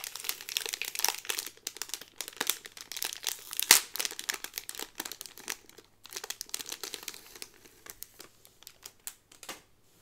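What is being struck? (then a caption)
Cardboard card in a thin plastic bag. Fingernails scratch and crinkle the clear plastic bag holding a blue cardboard Peter Pan pin card, working across the back before the card is turned over to the front. Dense, bright crinkling and crackling comes in rapid bursts, with one sharp loud crackle a little before the four-second mark. The crinkles then grow sparser and quieter toward the end.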